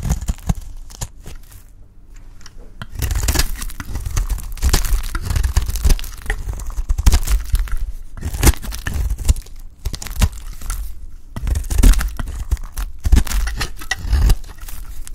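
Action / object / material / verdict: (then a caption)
scrape / bar of soap / soap / none. A metal blade cuts and scrapes the corner of a solid blue bar of dry soap, sending crumbly flakes breaking off. Dense, dry crunching and crackling scrapes carry a heavy low thud underneath, following a quieter stretch near the start.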